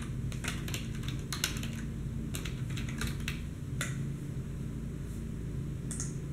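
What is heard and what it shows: Both hands type rapidly on a black plastic desktop keyboard with fingertips and nails. Quick, bright clicking key taps, some in clustered bursts, sit over a steady low hum.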